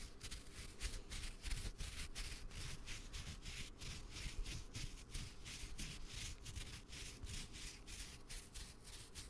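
A red and black woven nylon camera strap is held close to the microphone and rubbed and scratched with the fingertips. Rapid, repeated scratchy strokes come through as bright, hissy bursts over a steady low rumble of handling noise.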